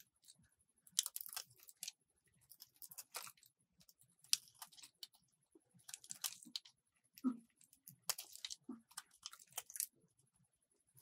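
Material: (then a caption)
Soap. A metal box-cutter blade scrapes and shaves a solid white soap bar with a red layer, and the dry flakes crumble into the palm. Short bursts of crisp, bright scraping and crunching come in clusters separated by quiet pauses, with a faint steady high tone underneath.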